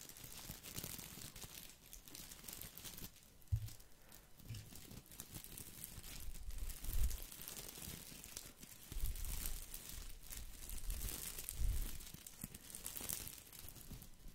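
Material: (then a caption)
Plastic. A small green artificial boxwood ball with plastic leaves is held in one hand and scratched and rubbed with the fingers. The result is a quiet, continuous crinkling and rustling of stiff leaves, with bright scratchy texture over soft low bumps from the handling.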